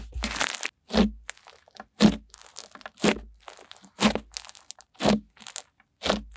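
White snow-textured slime is spread flat and pressed with long-nailed fingers, then gathered and squeezed in cupped hands. Seven main crunchy, crackling presses land about once a second, with softer crinkling crackles between them. Each burst is broadband and bright with a low thump, and stops dry with no ring.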